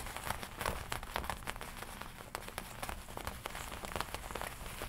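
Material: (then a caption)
Leather. Long nails tap and scratch the black leather chest and lapel of a worn black and red studded leather biker jacket. The result is a quiet, steady stream of quick, dry taps and crinkly scratches over a soft low rumble, with a few brighter clicks standing out.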